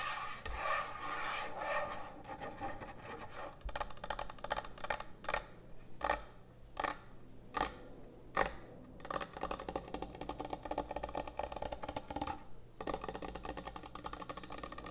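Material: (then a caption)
Wood. Long nails scratch and tap on a large, thick, solid wooden end-grain butcher block cutting board. Dry, rasping scratches run throughout, broken by sharper, brighter taps spaced loosely apart, with a steady low hum underneath.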